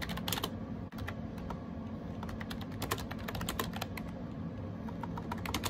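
A gray AJAZZ 308i wireless Bluetooth keyboard with round plastic keycaps is typed on rapidly with fingertips. Quick, bright plastic key clicks run almost continuously over a low background hum, with a brief drop near the one-second mark.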